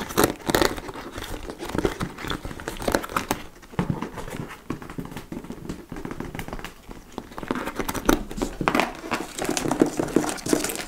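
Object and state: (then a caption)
Leather handbag being scratched. A large, hollow dark-brown leather (likely faux) tote bag with ruffled sides is held up while its front flap is scratched with nails. Dense, dry scratching and crinkling runs continuously, with brief brighter bursts. Short, rapid strokes give the bag a low-mid, slightly hollow tone that dies away almost instantly.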